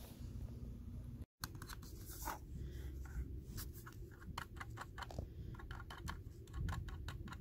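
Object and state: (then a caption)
Plastic computer mouse. Fingertips and short nails tap, scratch and click on the hollow plastic shell and buttons of a small red and black Logitech computer mouse resting on a mouse pad. Quick, dry clicks and taps ring out over a steady low rumble and soft scratching. The sound cuts to brief silence just after the first second, then resumes.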